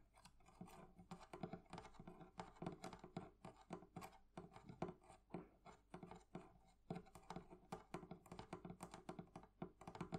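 Fingernails and fingertips tap on the metal fittings of a wooden barrel chest from a thrift shop. The result is a steady run of quick, quiet, dry clicks and taps. Each has a short, low ring that dies away almost at once.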